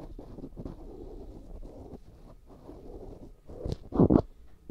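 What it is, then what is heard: Silicone ear microphone being scraped. A black cotton swab rubs and scratches inside the ear canal of a life-size white silicone ear that serves as a binaural microphone, the ear being solid and soft rubbery. Close, muffled scraping and rustling, low and dull, fills the clip, ending in two louder rubbing bursts.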